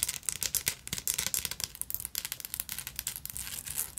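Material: Glass beads.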